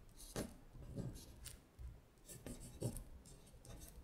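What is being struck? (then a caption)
Fingernail on a paper sheet. A long nail scratches across a thin paper worksheet lying flat as it traces the words. Quiet, dry scraping strokes come in short bursts, each with a soft low tap where the nail meets the paper and a faint bright hiss.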